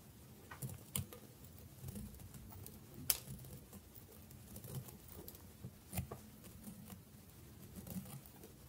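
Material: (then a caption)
Soap. A small, dry bar of soap held between the fingers is sliced into thin layers with a metal blade. Five short, crisp scraping cuts with bright, hissy edges stand out over a quiet, low rumbling background, and each one dies away almost at once.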